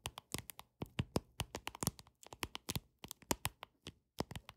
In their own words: 13:41- Tapping Deck Of Cards With Long Nails